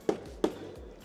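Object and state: Matte plastic truck bumper.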